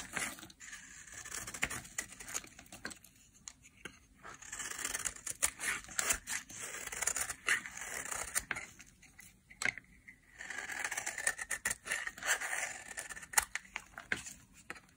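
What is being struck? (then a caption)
Bar of soap cut with a metal blade. A solid, pale yellow dry soap bar is held in the hand and shaved into layered curls with a metal blade. Crisp, bright scraping and cutting strokes come in repeated bursts with short pauses between them. Each stroke has a dry, tearing texture with almost no low end.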